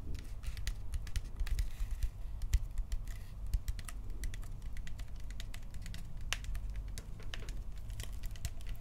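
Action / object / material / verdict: tap / hard plastic toy blaster / plastic / none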